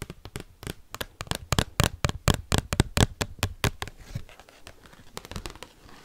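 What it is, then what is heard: Giant cardboard card tapped and scratched. Paperclip-tipped fingers rapidly tap and scratch the back of an oversized, thin cardboard Pokémon trading card. Each tap is a sharp, dry click with a dull low thump and no ring. After about four seconds the tapping softens into quieter, papery scratching with a few lighter taps.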